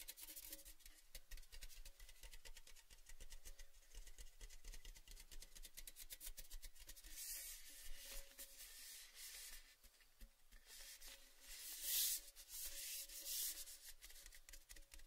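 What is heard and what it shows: Fingers rub and scratch along the painted surface of a tall, hollow, cylindrical red metal Baileys gift tin, which is printed, open and empty and held in both hands. A continuous dense, dry scratching with bright hiss plays throughout, over a faint steady tone near 550 Hz. Louder, brighter strokes stand out around 7 to 8 seconds and again near 12 to 13 seconds.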